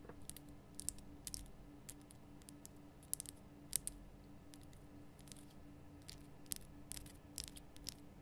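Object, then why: Rock salt lamp. Fingertips and long nails tap and click on the solid, rough salt of a large, lit pink Himalayan rock salt lamp. Quiet, dry, bright clicks scatter irregularly over the clip, each dying away almost instantly. A low, steady hum sits underneath.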